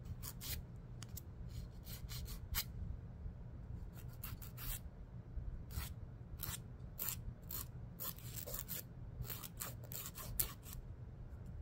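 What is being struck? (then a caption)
Emery board nail file rubbed by a fingernail. A fingernail is rubbed and scraped along the gritty surface of a long, dark, solid emery board nail file held upright. Quick, bright, raspy filing strokes come in bursts over a steady low hum.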